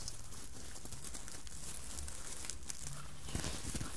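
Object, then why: Sequined fabric Santa hat. Long nails scratch and fingertips rub over the sequin surface of a red sequined Santa hat made of soft fabric, with a white plush pompom and brim. The result is a quiet, steady, dry crinkling rasp with bright, high sparkly ticks over a faint low rumble, with a few slightly sharper scrapes near the end.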